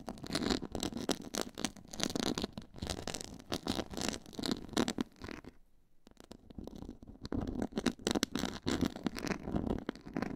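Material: Faux leather.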